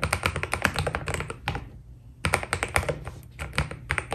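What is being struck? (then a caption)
Mechanical keyboard with plastic keycaps. Both hands type continuously on a white full-size Keydous NJ80 mechanical keyboard with a steel plate, foam dampening and cream Cherry-profile PBT plastic keycaps, fingertips pressing and tapping the keys. A rapid run of short, muted clacks with a low thock and a bright click on top stops briefly in the middle, then picks up again at the same pace.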